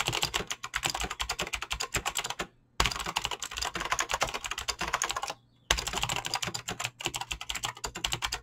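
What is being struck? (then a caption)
Mechanical keyboard with clicky switches and PBT plastic keycaps. Fingertips with short painted nails type fast on a full-size mechanical keyboard with Razer green clicky switches and pink-blue PBT plastic keycaps on a desk. A rapid stream of bright, sharp clicks with short decays plays over a faint low hum. The typing breaks off in two brief silent pauses before resuming.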